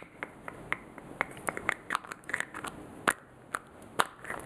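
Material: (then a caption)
Plastic. Fingers and nails tap and click the clear plastic cap of a small white plastic lotion bottle. The sound is a quick, irregular series of light, dry clicks and taps with sharp, bright transients that die away almost instantly. A few louder clicks stand out against a faint background hiss.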